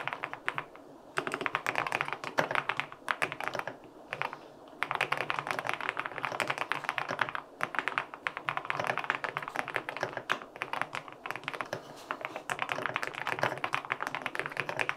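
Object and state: Aluminum mechanical keyboard with plastic keycaps.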